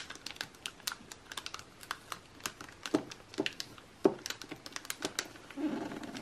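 Fingertips and nails from both hands rapidly tap and scratch the pages of an open glossy paper magazine lying flat on a table, staying on the same spread throughout. The result is a quick, irregular run of short, bright clicks and papery ticks with almost no low end. It ends in a louder stretch of continuous scratchy rustling.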